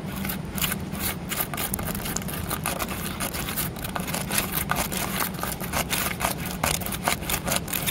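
Long nails tap and scratch the rough surface of a large, solid concrete flower pot carved with a relief pattern. Quick, bright taps and gritty scrapes come in rapid bursts throughout, over a steady low hum.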